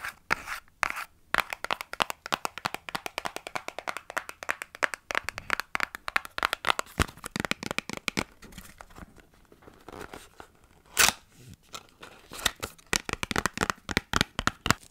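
Long nails tap and scratch a small, hollow, printed cardboard product box in a rapid, uneven stream of short, dry clicks and scrapes. The sounds are bright and crisp with almost no ring, and there is a louder burst of scratching near the eleven-second mark.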